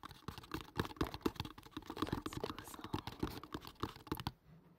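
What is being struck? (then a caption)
Cardboard box. A hollow kraft cardboard product box, held above the mic, is tapped and scratched quickly with fingertips and nails. The result is a rapid, uneven run of dry, muffled taps with a dull low thump and soft scratchy texture, each dying away almost at once. The tapping stops just before the end, leaving a faint quiet tail.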